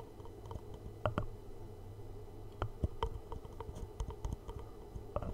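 A small, hollow black cardboard gift box is held in both hands directly in front of a microphone while thumbs and short-nailed fingertips tap slowly on its flat faces. The taps are soft, dull and hollow, mostly low in tone with a few sharper clicks, and each stops at once with no ring. A steady low hum sits underneath.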